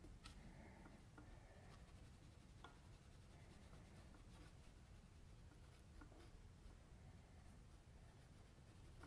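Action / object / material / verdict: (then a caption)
scrape / sheet of drawing paper scratched by a pencil tip / paper / none. A metal mechanical pencil tip scratches and shades in short strokes across a flat white sheet of drawing paper resting on a table and held by the left hand, sketching a face. Soft, scratchy rubbing strokes and faint ticks sit over a steady low hum throughout the quiet clip.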